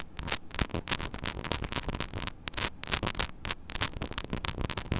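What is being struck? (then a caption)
Small metal mesh microphone grille. Long nails scratch across the small, hollow metal mesh grille of a mini microphone head. Dense, gritty scraping comes in rapid bursts of bright, crackling noise over a steady low hum.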